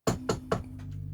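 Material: Wood.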